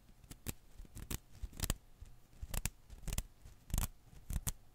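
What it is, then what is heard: Rubber Koosh ball. A single blue and green Koosh ball of thin rubber filaments rests in one palm while the other hand's fingertips pinch and pluck its strands. Each pluck gives a short, dry, bright snap, often in quick pairs, with soft rustling between them over a low background hum.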